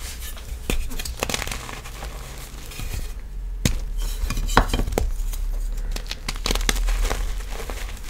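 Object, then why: Block of pressed gym chalk. Fingertips with long black nails squeeze, crush and rub solid, crumbly, hand-sized chunks of white reformed gym chalk (magnesium carbonate) slab inside a pile of loose chalk powder. Dense, crunchy, gritty crumbling fills the clip, punctuated by sharp, bright snaps over a steady low rumble. The chunks break down into powdery crumbs.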